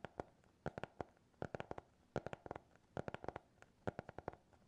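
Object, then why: Hardcover notebook cover. Fingernails tap and scratch on the cover of a small black hardcover notebook with a TikTok logo, closed and solid. Quick clusters of short, dry, bright clicks come in irregular bursts, each dying away almost instantly against a quiet background.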